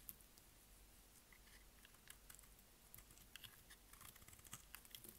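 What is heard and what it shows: A utility blade scrapes and shaves the face of a solid, dry, green oval bar of soap held in the hand. The sound is quiet, with a steady low hum beneath a string of short, dry, crisp scratches and bright flicks.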